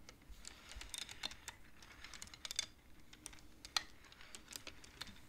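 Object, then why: Wooden abacus beads. Long-nailed fingers slide and clack the beads of a wooden abacus. The result is a quiet, irregular run of short, bright, dry clicks with almost no ring and a faint low rumble underneath, with one sharper clack near the end.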